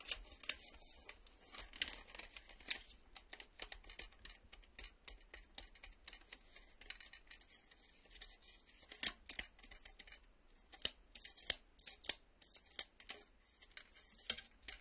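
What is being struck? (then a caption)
Plastic VHS cassette. Fingernails scratch and tap along the ribbed edge of a black plastic VHS cassette. Quiet, bright, dry scratching runs through the clip, punctuated by irregular sharp clicking taps that stop almost instantly with no ring. The taps grow denser and louder toward the end.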